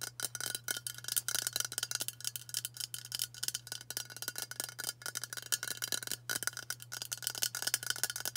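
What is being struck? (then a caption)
Aluminium aerosol deodorant can. Long matte burgundy nails tap quickly on a hand-sized White Dove aluminium spray deodorant can, a hollow cylinder held upright. The result is a dense stream of bright, clicky metallic taps with a very short ring and a faint high tone, over a steady low hum.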